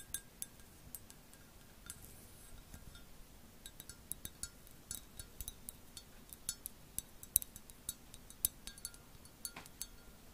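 An empty black glazed ceramic mug shaped like a cat face with ears is held in both hands and tapped with long acrylic nails. It produces a quiet, irregular run of sharp, bright clicks and clinks with almost no ring, over a faint low background hiss.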